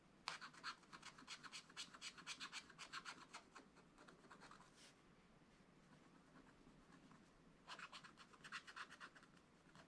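A wooden stylus makes short, quick scratching strokes across the coated surface of a flat scratch-art card page in a spiral book, near a zebra picture. Rapid, bright, dry scratches come in a steady rhythm, fade to a quiet lull midway, then start again in another brisk run.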